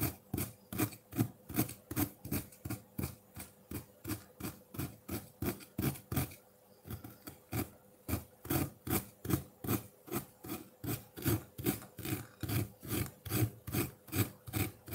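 A metal fork scrapes and shaves the surface of a solid block of colored ice sitting in a ceramic bowl with melt water. About 45 short, dry scraping strokes repeat at a steady rhythm, with a brief pause just past the six-second mark. The sound is mostly low and full-bodied with little bright content.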